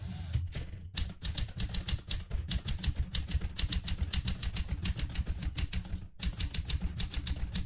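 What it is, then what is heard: Metal manual typewriter. Long red-painted nails on both hands type with the fingertips on a vintage Smith-Corona manual typewriter with a metal casing and plastic keys. A steady run of sharp, bright key clacks sits over a low, thumping body resonance, each strike dying away quickly. There are only a few brief pauses along the way.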